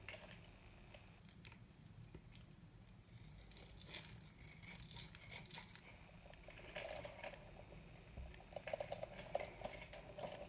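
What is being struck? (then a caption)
Bar of soap scraped with a small knife. A small metal knife scrapes and cuts crumbly flakes from the edge of a hard, dry white bar of soap held in the palm. The result is a quiet run of dry, crisp scratching and crunching strokes with bright upper edges, growing a little louder and denser toward the end.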